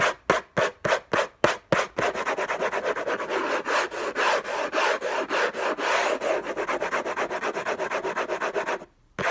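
Fingertips and short nails scratch the lid of a closed, long rectangular orange Hermès gift box made of cardboard covered in textured paper, lying on a fluffy blanket. Seven separate dry, raspy strokes come first, then a fast, dense run of hard scratching that continues for about seven seconds. It ends in a brief pause and one last stroke.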